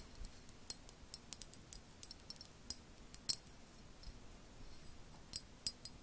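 A medium, empty clear glass jar with a red lid is held in both hands close up and tapped with long painted acrylic nails. Quiet, sharp, bright clicks and ticks come in scattered bursts with very short ring, over a low background hiss.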